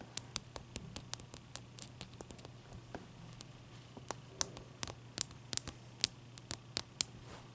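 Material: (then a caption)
Ice. Long dark nails on both hands tap and scratch a large, clear, solid ice block resting on a towel. About 25 sharp, bright clicks stand out over a soft, steady scratching hiss and a faint low hum. Each tap dies away almost instantly.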